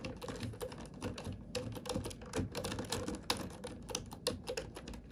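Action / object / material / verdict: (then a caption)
tap / plastic computer keyboard / plastic / none. Long nails and fingertips type on a black full-size plastic computer keyboard with hollow plastic keys. Quick, irregular, soft clicks and taps run continuously, with bright clacks over low hollow thuds.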